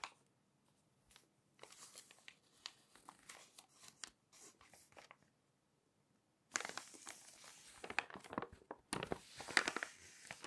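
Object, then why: Glossy paper magazine pages. Thin glossy magazine pages are gripped by the edge with long nails, flipped over, then pressed down. Soft, bright paper crinkles and rustles come in short bursts over the first five seconds, then after a brief silence a louder, denser run of crackling and crinkling fills the rest of the clip with only a short pause.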